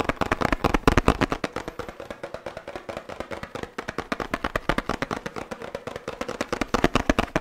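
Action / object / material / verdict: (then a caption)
tap / laminated paperboard drink carton with plastic cap / paperboard / none. A 1 L oat milk carton made of laminated paperboard, with a plastic cap, is tapped quickly on its faces and cap with the fingertips and nails. The result is a fast, uneven stream of dry, hollow knocks with a low-mid body and almost no ring.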